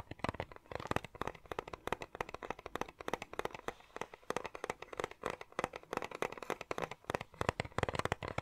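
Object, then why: Plastic cassette tape case. Fingertips and nails tap and scratch a small hollow clear plastic cassette case with a colourful insert, held at an angle close to the microphone. A rapid, dense run of short, dry clicks and scrapes follows, each dying away almost instantly with no ring. The taps are light and crisp, carrying a faint hollow body.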